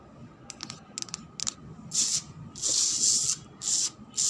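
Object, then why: Cement floor. A cement floor is scratched, starting with a cluster of quick, light scratchy ticks. These give way to longer, bright, hissing rasps that sweep back and forth with short pauses between them. The sound is almost entirely high-frequency, with no low rumble.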